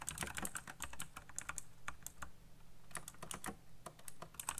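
Fingertips type very fast on a backlit black plastic mechanical keyboard with RGB lighting and hollow key switches. Rapid, uneven bursts of sharp, bright clicks and clacks run throughout, each dying away almost at once over a low, steady hum.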